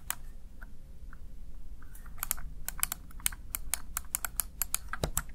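A small, hollow, backlit plastic Razer Tartarus Chroma gaming keypad has its keys pressed with fingertips and long nails in typing taps. A few sparse taps give way after about two seconds to a quick run of sharp, bright, high plastic clicks with almost no ring, over a steady low background hum.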